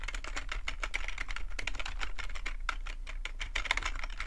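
Both hands type with their fingertips on a black full-size plastic computer keyboard. The result is a rapid, uneven stream of short, dry key clicks with bright tops and a low underlying thud.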